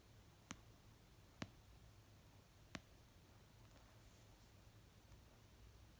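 Fingertips and nails slowly tap an orange paperback novel of solid paper resting on a blanket. Three short, sharp, dry taps sound at uneven intervals, each dying away almost instantly over a quiet, low background hum.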